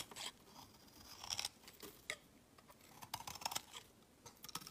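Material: Soap.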